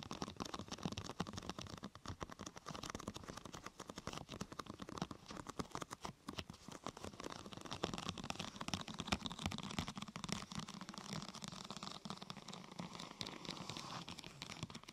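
Long nails tap and scratch the sides and top of a large, thin, flexible purple translucent plastic protector sheet curved into a hollow arch over the microphone. A steady, quiet stream of rapid crinkly clicks and scratchy rustles with a hollow low resonance continues throughout, with short, dry hits that die away almost instantly.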